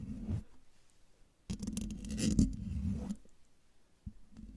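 Long dark nails of both hands scratch the hollow metal mesh grille of a silver condenser microphone. A brief scratch is followed by a pause, then a dense, raspy burst of scraping with bright crackle over a low, boomy body. A softer scratch closes the clip.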